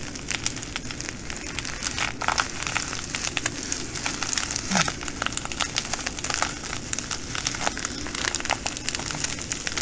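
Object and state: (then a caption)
Plastic bag of glass beads. Fingers fold and squeeze a full plastic bag of green glass bugle beads while long nails scratch across it. The result is a steady, bright crinkling with dense clusters of sharp clicks and rattles from the beads shifting inside, over a faint low rumble throughout.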